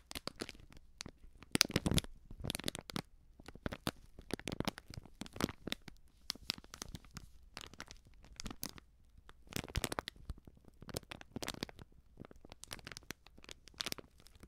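A small, sealed, filled plastic-foil baking soda sachet is crumpled at its foil edge and scratched with long nails. Quiet, dense crinkling and crackling come in irregular bursts, with bright, sharp snaps over a soft low rustle. Each crackle stops instantly with no ring.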